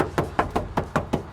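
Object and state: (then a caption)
Solid steel trunk floor. Six evenly spaced knocks land on the steel trunk floor pan of a 1964 Buick Skylark, with the trunk mat lifted. Each knock is a short, dull thud that dies away quickly. The floor shows a little water intrusion but sounds nice and solid.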